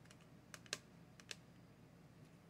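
A small clear plastic Crayola watercolor palette case with paint pans inside is held in one hand and tapped with the fingertips and nails of the other hand. Quiet, sharp, bright clicks come in scattered taps, a few louder than the rest, each dying away almost at once over a faint low hum.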